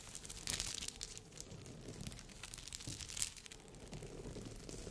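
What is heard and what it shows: Long nails scratch across the glass crystals of a rhinestone-covered bikini cup, giving a continuous bright, crinkly scraping with sharp clicking peaks near half a second and again past three seconds. A soft low rumble sits underneath.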